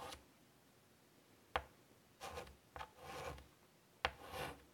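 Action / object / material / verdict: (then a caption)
scrape / chalk on a wooden-framed chalkboard / chalk / none. Chalk is drawn across a large wooden-framed chalkboard lying flat, tapping and stroking the surface while sketching a small flower. Sharp taps alternate with short, raspy scraping strokes in a quiet space.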